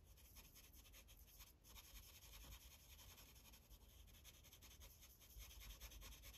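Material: Paper.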